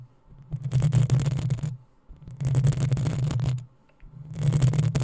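Long nails scratch the hollow metal mesh grille of a black desktop microphone in three drawn-out passes separated by short pauses. Each pass produces a close, heavy low rumble with a bright, crackling scrape layered over it.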